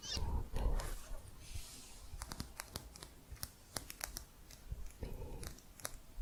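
Quick, irregular taps on a thick plastic crochet hook make sharp clicks, with soft rustling bursts at the start and again near the five-second mark. The taps are short and dry with little ring, over a faint low hum.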